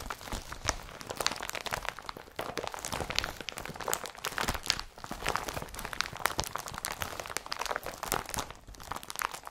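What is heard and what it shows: An empty blue IKEA BRATTBY woven polypropylene carrier bag is rubbed and scratched with the fingers. The result is a steady, dense run of dry, bright crinkling and crunching scratches, with quick rustling bursts that die away almost instantly.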